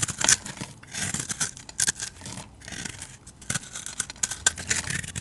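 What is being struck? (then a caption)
Bar of soap cut with a knife blade. A utility knife blade shaves and chips flakes off a solid, hand-sized bar of blue soap with a glitter coating. The sound is a run of crisp, bright scraping and clicking cuts in short bursts, each dying away almost at once.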